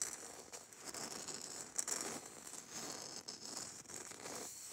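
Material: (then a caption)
Glitter. Long nails scratch and tap the gritty surface of a small, hollow red glitter-coated Christmas bauble with a coarse glitter coating. The result is a quiet, continuous, dry, high-pitched crackling scratch with light taps, almost no low end and no ringing.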